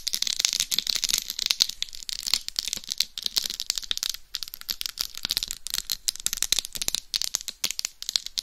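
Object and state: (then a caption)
Rhinestone-covered dummy head microphone. Long nails scratch and massage the rhinestone-studded surface on the top and sides of a hollow, life-size dummy head microphone. The result is a dense, fast run of crisp, bright scratching and clicking, with almost no low end and no lingering ring.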